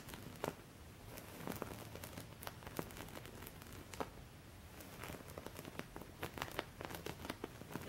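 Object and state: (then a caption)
Embroidered cotton cloth. Fingertips with painted nails scratch over the raised embroidery of a thin, flat white cutwork-embroidered cotton linen cloth lying on a surface. The sound is a steady, quiet run of dry, crinkly scratches with quick, bright crackling ticks over a soft low rumble, each tick dying away almost instantly.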